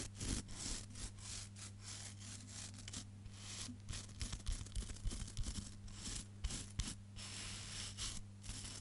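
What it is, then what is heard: Nails raking hairbrush bristles. Long fingernails scratch and rake through the black bristles of a wooden hairbrush, making a quick, uneven run of dry, bristly scraping strokes with bright hissy bursts. A steady low hum sits underneath throughout.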